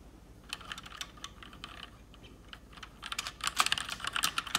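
Long red-painted fingernails type fast on a full-size mechanical keyboard with plastic keycaps, hollow keys on switches and an RGB backlight. Quick, irregular, bright clacks come about two per second, sharp and with almost no ring. The typing starts soft and sparse, then turns into a denser, louder burst of clicks in the last second and a half.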